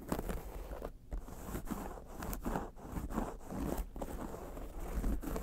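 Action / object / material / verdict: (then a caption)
scrape / embossed leather wallet / leather / none. Long nails scratch across a long, flat wallet made of multicolor embossed leather patches lying on a fur rug. The result is a steady run of dry, rasping scratch strokes, broken by short pauses, with most of the energy in the low range and little brightness.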